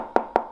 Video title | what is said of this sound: J'ai acheté les db Technologies ES602 | C'est du plastique, mais franchement, dans la catégorie plastique, ça sonne plastique